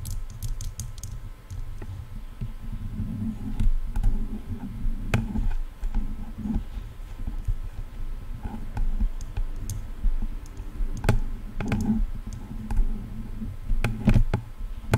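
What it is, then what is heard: Plastic headphone ear cups tapped with nails. Long nails tap on the shells of hollow silver plastic headphone ear cups. The result is a run of quick, dry clicks with a low, hollow body that die away almost instantly, over a faint steady hum.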